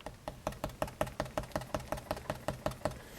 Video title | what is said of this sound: Vibe Monsoon sub woofer upgrade | you don't hear that empty hollow sound